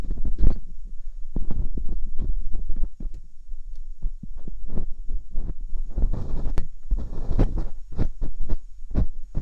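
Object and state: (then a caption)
Silicone microphone ear scraped with a dental pick. Metal dental picks scratch inside the ear canals of silicone binaural microphone ears. The result is a quick, irregular run of muffled, low thumps and scraping rustles, heavy with deep rumble and each one dying away almost instantly. A faint steady high hum sits underneath.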